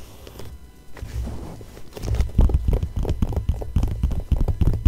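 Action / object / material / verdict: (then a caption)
scrape / glossy paper magazine page / paper / none. A fingertip and long nails trace and scratch across the same Cartier bracelet ad spread in an open magazine with thin glossy pages lying flat. Soft, faint rubbing for the first two seconds gives way to louder, uneven scratching with dull low thumps underneath and brief bright ticks.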